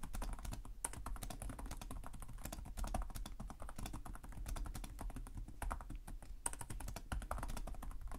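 Both hands type continuously with their fingertips on the plastic chiclet keys of a black laptop keyboard. A rapid, steady stream of short, dry key clicks with soft low thuds underneath runs the whole clip, each tap dying away almost instantly.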